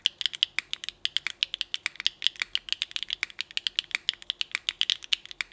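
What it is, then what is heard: Mechanical keyboard with ABS keycaps. Both hands type with their fingertips on a small 60% mechanical keyboard with rainbow GMK ABS keycaps, an aluminum plate and HMX Hyacinth switches, resting on a desk mat. About 44 rapid key presses sound as crisp, bright clacks centered near 3.1 kHz, each dying out almost instantly, with no low-end thump.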